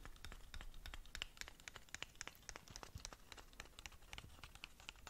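Long nails scratch rapidly along the sides of a long, narrow, hollow, closed black cardboard lip gloss box. The result is a quiet, continuous run of dry, bright scratching clicks and ticks with no ring, over a faint low rumble.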